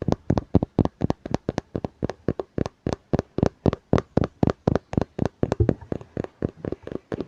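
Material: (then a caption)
Cardboard, paper. Fingers tap on a hardcover book in a quick, steady run of short, dry knocks. The taps are dull and low-bodied with a brief bright click, and each stops almost at once.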